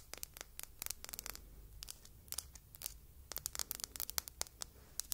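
Long red fingernails tap and scratch a small, solid-looking red glass perfume bottle shaped like an apple, with a silver metal cap, held in the fingertips. The result is a quiet, irregular run of sharp, bright clicks and short scratchy ticks, dry with no ringing, over a faint low rumble.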